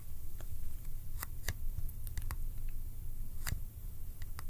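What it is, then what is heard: Cardboard film box. A small Kodak ColorPlus cardboard film box is held in one hand and tapped or clicked with the fingertips. Short, sharp, bright clicks come at irregular intervals over a steady low rumble. Each click dies away almost at once.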